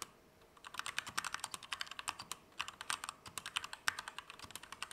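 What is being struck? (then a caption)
Mechanical keyboard, plastic keycaps, aluminium frame. A compact Keychron K2 V2 mechanical keyboard with Gateron Red switches, plastic keycaps and an aluminum frame is typed on with the fingertips at a medium to fast pace. After a brief quiet start, a steady run of short, bright, clacky keystrokes follows, each dying away almost instantly with very little low end.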